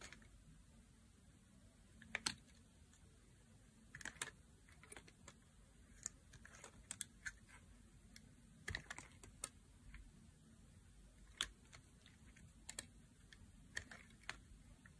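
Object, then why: Bar of soap cut with a metal blade. A metal blade repeatedly cuts and scrapes thin slices from the surface of a solid, dry blue soap bar held in the hand, and the curls fall away. Sharp, bright, crisp clicks and scrapes come in scattered bursts over a faint steady hiss, each dying almost instantly.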